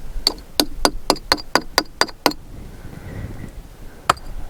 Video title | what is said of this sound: Part 3 - Sunset Crater and Wupatki National Monuments | what makes it sound hollow when you tap it here